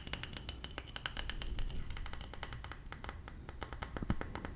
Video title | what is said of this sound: ASMR Tapping Assortment - Glass, Lid Sounds, & More | The closer I move to the top of the bottle, the more high pitched the sound.